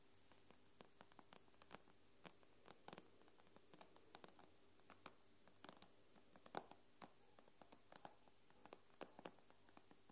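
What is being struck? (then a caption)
Glass tablet screen. Long nails tap and scratch on the glass screen of an iPad. Many quick, dry clicks and brief scratchy strokes come at an irregular pace over a quiet, steady low hum, each tap dying away almost at once.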